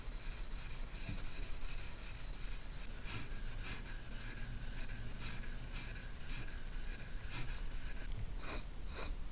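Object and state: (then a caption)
Copper handbag being polished. A small, empty, hollow copper or brass handbag is held in gloved hands and rubbed with a grey polishing cloth. The result is a continuous low, soft rubbing rasp with repeated bright swishes from the cloth strokes.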